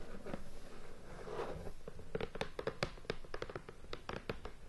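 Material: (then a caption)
Cardboard. Long painted nails scratch and then tap across the lid of a hollow, medium-sized cardboard board game box in plastic shrink wrap, resting on a bed. A soft crinkly scratching sweep gives way to a quick series of dull, short taps with a faint plastic crackle.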